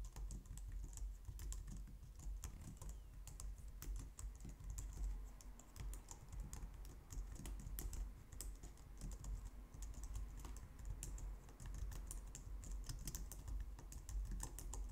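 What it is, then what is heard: Plastic computer keyboard. Fast typing with long nails on a white, low-profile plastic computer keyboard, heard close up. A steady, dense stream of quick, bright clicks and taps runs for the whole clip over a soft low rumble, with each keystroke dying away almost at once.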